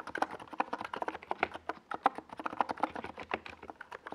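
Steady typing with the fingertips of both hands on a compact 68-key NiZ Plum Atom 68 mechanical keyboard. It has a white plastic case and purple and yellow Domikey Gas Attack SA plastic keycaps, and it rests on a purple desk pad. A fast, dense run of short, dry clacks centers in the mids around 800 Hz, with a faint bright top and almost no low end.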